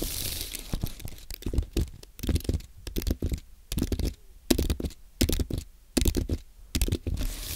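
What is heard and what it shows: Fingertips type on a compact white aluminium and plastic Apple keyboard, giving a quick, uneven run of soft, low keystroke taps. Each tap has a brief bright click on top and dies away almost at once, with short pauses between bursts of typing.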